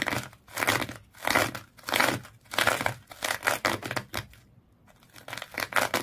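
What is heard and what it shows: Long fingernails scratch back and forth across the coils of a small fish-shaped pet toy tightly wrapped in multicolored twisted sisal or jute rope. Each stroke is a dry, bright, crinkly rasp. The strokes come in a steady rhythm, with a short quiet pause before the last few.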